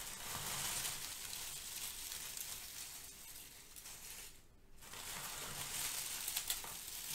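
Both hands press, crush and rub brown crinkle-cut kraft paper shred filler with the fingertips, making a dense, bright, crackling rustle. The rustling runs steadily, fades to near silence for a moment just past the midpoint, then picks up again with a few sharper crackles toward the end.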